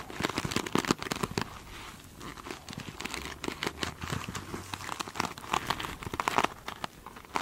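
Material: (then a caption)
Plastic mesh. Long holographic nails scratch the glitter mesh surface of a foam sponge, close up. A dense run of crisp, crinkly scratching bursts comes and goes in quick uneven strokes, with bright, rough texture and very short decay.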